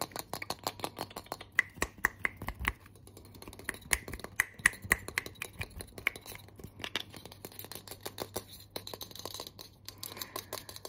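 A handheld, hollow, pressurized aluminium aerosol deodorant can with a teal plastic cap is tapped and scratched with long nails and fingertips. The result is a fast, irregular stream of sharp, dry clicks and taps, some carrying a brief metallic ping around 1.9 kHz. Softer scratchy rasps run between them over a low steady hum.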